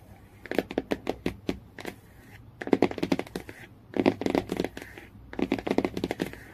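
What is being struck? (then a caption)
Cardboard hardcover book cover. Fingernails tap and scratch the cardboard cover of a hardcover book near the spine. Quick, dry clicks come in four fast bursts, mixed with light scratchy rasps, and each tap stops almost at once with no ring.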